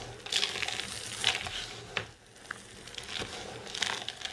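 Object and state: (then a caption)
Dry soap shavings being crushed. Hands with long nails press, cup and crush a compact mound of dry green soap chips. The result is a steady run of crisp, bright crunching and crackling, with sharper crackles standing out and a brief quieter lull in the middle.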